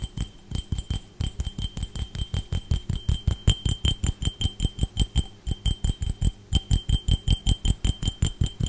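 A clear, empty, hollow drinking glass, held in one hand, is tapped and scratched with the fingertips and nails of the other hand. About 44 quick, fairly regular taps sound as dull, low thumps, each with a short, bright glassy ping that dies away almost at once.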